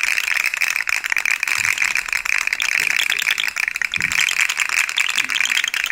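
A yellow and white articulated plastic fidget slug toy with hollow segments is held up in one hand and tapped with long nails, making its segments rattle. The result is a steady stream of bright, dry plastic clicks and rattles, concentrated in the upper mids and highs with almost no low end.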